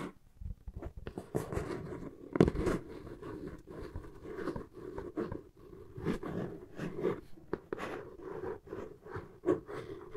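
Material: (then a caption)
Cardboard. Long nails scratch across the flat side of a hollow brown corrugated cardboard box, making rough, rasping scrapes in a steady run of short strokes. The scratching has a dry, papery texture with a hollow midrange body and a few louder swipes standing out.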